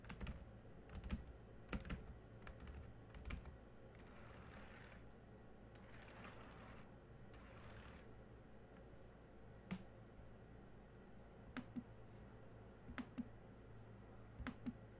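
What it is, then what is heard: Plastic laptop keyboard. Fingertips of one hand tap individual black plastic keys on a silver laptop keyboard. Sparse, short, dry clicks come in small bursts and single taps over a steady low hum. Soft hissy swells rise between them in the middle of the clip.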